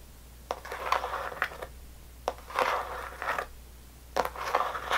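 Long nails tap and scratch the side walls of a small rectangular clear plastic tub full of red sour belt candy, held by both hands with the lid on. Sharp, dry clicks with almost no ring alternate with short bursts of bright, crinkly scratching in quiet stretches of the clip.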